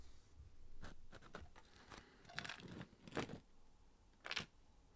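Fingertips and nails tap and scratch along the side of a cardboard Pringles chip can with a metal bottom, held close to the mic. Quiet, dry, papery taps and short scrapes come in irregular bursts, a few brighter and sharper, over a soft low background.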